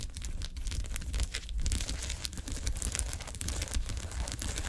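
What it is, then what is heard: Foil ice pack sheet. Long acrylic nails rapidly tap and scratch a flat sheet of small, filled, silver foil-wrapped ice pack cells lying on a table. The result is a steady stream of crisp crinkling and tearing-like scrapes with quick ticks, over a constant low rumble.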